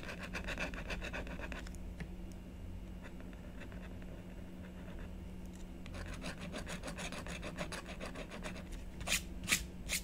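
A blue stylus scratches a black-coated scratch-art paper sheet in rapid back-and-forth strokes to fill in an area, giving a dry, raspy scratching over a low steady hum. The strokes pause briefly in the middle, then resume, and end with a few sharper, brighter scrapes.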